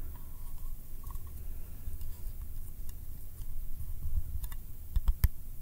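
A small round yellow metal candy tin with a printed lid is held in the fingers and given sticky taps with the fingertips and nails. Quiet, dry, bright ticks and clicks die away almost instantly over a steady low rumble, growing sharper and louder toward the end.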